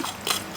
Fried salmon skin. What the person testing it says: Look how crispy that's gone.